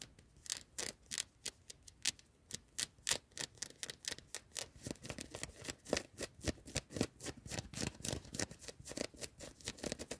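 Long nails scratch fast and hard across the sleeve and ribbed cuff of a worn yellow knit cotton hoodie inside a car. The result is dozens of short, dry, bright scratching bursts, about three or four per second, coming at an uneven pace that grows denser toward the end.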